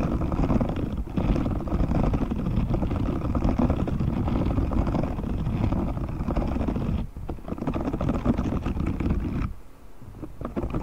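A hand-sized, thin and flexible grey silicone cleaning glove with dense short spiky bristles is held up away from the mic while fingertips scratch and flick across the bristles. This makes a continuous, dense, low, rumbling scratching with brief dips around 1 and 7 seconds. The sound then drops to a softer, thinner rustle for the last second or so.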